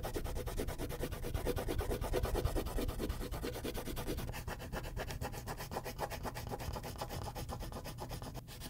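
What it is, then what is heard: Wax crayon shading on paper. A purple wax crayon shades a large area of a thin white paper sheet on a clipboard in broad back-and-forth strokes. It makes a steady, rhythmic, scratchy rubbing with a low, papery rumble under it. The strokes blur into a continuous texture that eases slightly quieter partway through.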